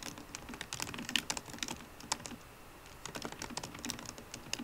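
Fingertips and short-to-medium painted nails of both hands tap the solid black plastic scissor-switch keys of a 13-inch silver aluminium MacBook Pro laptop. The quiet, bright, clicky taps come in quick irregular runs with a very short decay and little low end. A brief lull falls in the middle before the typing picks up again.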